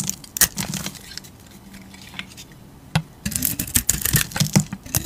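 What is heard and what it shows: A utility knife blade scrapes and carves a hand-sized solid oval soap bar with a dark green painted floral surface and a tan interior, held in a hand with long teal nails, shedding shavings. Crisp, bright scraping strokes come in irregular bursts, with a quiet pause in the middle. Then a denser run of sharp scrapes and soft crumbly flicks follows.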